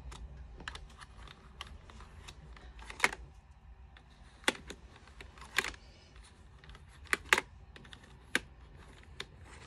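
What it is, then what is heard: Plastic computer keyboard being brushed. A small handheld brush is rubbed across the keycaps of an unlit, white plastic full-size computer keyboard. It makes a soft, continuous rustle broken by sharp, bright scratching bursts at irregular intervals, each stopping quickly and dry.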